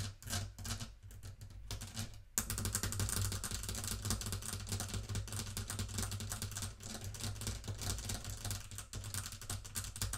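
Long nails tap quickly around the brass-rimmed face and upper wooden case of a small wooden mantel clock resting on a table. The result is a dense stream of crisp, bright clicks over a steady low hum, with a brief drop just past two seconds before the tapping picks up louder and keeps going to the end.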